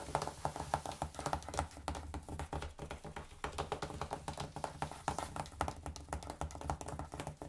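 Fingertips and short nails of both hands, wearing rings, tap and lightly scratch the glossy cardboard and paper cover of a large, solid, closed hardcover coffee-table book, "Rolling Stone Images of Rock & Roll," lying on a wooden table. The result is a fast, irregular stream of dry, short taps with almost no ring, mixed with soft scratching over a low, dull body.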